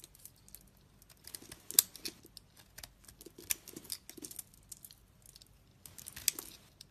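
A solid dark blue soap bar held in hand is shaved and scraped with a utility knife blade, leaving flakes around it. Quiet, crisp scraping and crackling come in short, bright bursts, with a few sharper clicks among them and almost no low end.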